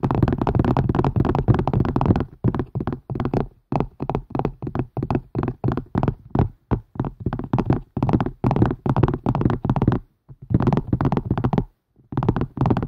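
A plastic and silicone strainer is tapped quickly with the fingers, giving dull, low-pitched thuds. A dense run of tapping leads into a long series of short, fast bursts separated by brief pauses.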